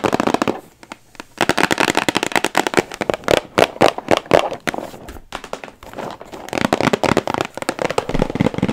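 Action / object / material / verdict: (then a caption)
tap / cardboard box / cardboard / none. Long acrylic nails tap and scratch a rectangular cardboard box for a 300-piece jigsaw puzzle held up close to the microphone. Rapid bursts of dry, crisp clicks and crackly scratching are broken by brief quiet pauses, and each tap stops almost instantly with no ring.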